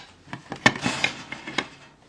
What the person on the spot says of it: they do look and act like a ceramic but they are actually a really great plastic you can hear it when I tap on it